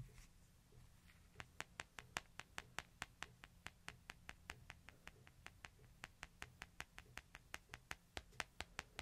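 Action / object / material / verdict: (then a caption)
tap / smartphone with glass back and metal edge / glass / none. Fingertips and nails tap and scratch across a small, flat, solid smartphone with a white back and a metal edge, held in the palm. After a quiet scratchy start, 38 sharp, bright clicks follow at a steady, quick pace, each dying away almost instantly over a faint low hum.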